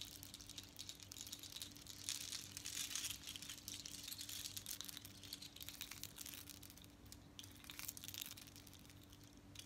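Long nails scratch a necklace of long strands of small hollow seashells with red beads worn on the chest, and the strands are lifted and shaken so the shells clack together. The result is a quiet, dense stream of bright clicking, crinkling and scraping over a faint steady low hum.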